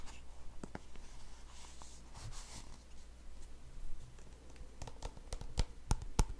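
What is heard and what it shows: Fingertips and short nails tap and scratch a small, white and yellow squeezable plastic tube of hand cream that looks full, held close to a microphone. Soft, papery scratching comes first, then quick, crisp taps that grow sharper and louder toward the end. A steady low hum runs underneath throughout.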